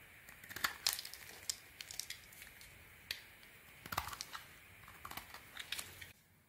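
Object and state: Soap bar being carved.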